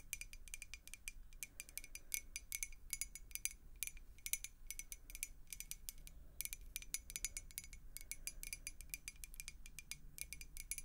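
A clear, hollow glass beer mug, partly filled with water, is tapped and scratched with long acrylic nails. The result is a quiet, rapid stream of bright, glassy clicks that ring only briefly, with faint scratching over a low background rumble.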